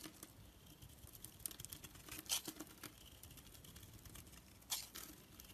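A black-handled knife shaves curled flakes off a rounded rectangular, solid orange soap bar held in the hand. The result is a quiet, bright, crisp scraping and crackling, with short sharp snaps standing out near the middle and again toward the end.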